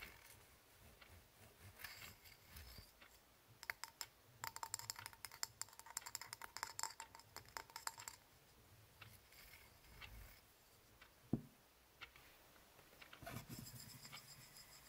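A small hollow ribbed titanium antistress egg is twisted and handled by the fingertips, then spun on a linen cloth. Quiet, dense bright clicks and light metallic ticks with faint high ringing tones build into a busy flurry in the middle, followed by a sharp knock and a soft spinning rattle near the end.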